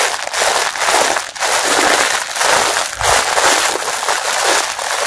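Fingers squeeze and crumple the clear printed plastic wrapper around a pink mesh bath sponge. The result is a steady, dense crinkling and crushing noise, bright and crackly, with brief dips between squeezes.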